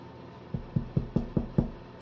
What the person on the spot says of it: il chante voilà ça sonne creux et pas plein